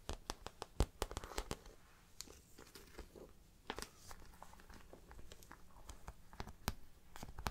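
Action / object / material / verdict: tap / patent vinyl handbag / faux leather / none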